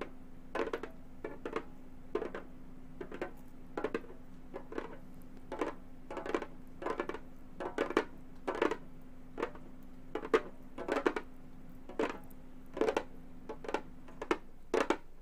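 A round, hollow Remo frame drum with a synthetic head is tapped with long gold metal finger claws. The result is a quick series of short, dry clicks and light thumps with a bright edge that die away almost instantly, over a faint steady low hum.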